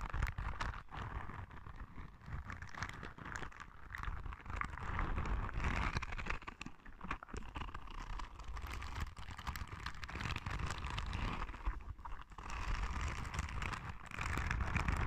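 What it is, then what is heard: Rubber spiky ball. A palm-sized, yellow soft rubber spiky sensory ball is scratched and squeezed with long red nails. It makes a steady stream of soft, rapid scratching and muffled rubbery taps with low thuds underneath and a rustly midrange. The sound stays close and quiet throughout.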